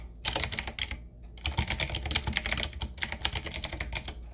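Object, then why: Mechanical keyboard with round plastic keycaps. Fingertips type on a 7Keys retro typewriter-style mechanical keyboard with round black plastic keycaps on a wood-trimmed frame. Bright, sharp clicks with quick decay come in rapid bursts, with a brief pause near the one-second mark before the typing picks up again. A low hum sits underneath throughout.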